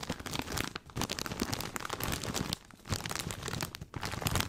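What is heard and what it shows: A large plastic snack bag full of corn rings is held up and squeezed and crinkled with the fingertips. Dense, bright crinkling and crunching comes in bursts, broken by brief quieter pauses near 0.8, 2.7 and 3.9 seconds.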